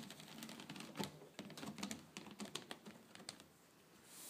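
Long painted fingernails tap and scratch across a flat woven rattan/wicker tabletop with a herringbone pattern and a solid surface. The result is a quiet, irregular run of dry, bright clicks with a light scratchy texture, each dying away almost at once. The tapping thins out toward the end, leaving a soft rising hiss.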